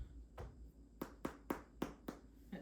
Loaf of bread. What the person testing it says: it sounds Hollow